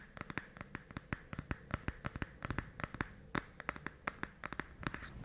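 A small, rectangular pink packaging box, likely hollow cardboard, is held in both hands just above a fluffy microphone windscreen and tapped and scratched with fingertips and nails. About 29 dry, sharp taps come in an irregular, quick rhythm. Each has a hollow midrange knock that dies almost instantly, with soft scratching rustle between them.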